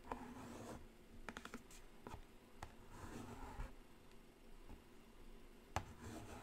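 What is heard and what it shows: A single long fingernail taps slowly on the lid of a black Carnival cardboard eyeshadow palette. About nine soft, dull taps land at uneven intervals, each dying away almost at once over a low, steady background rustle.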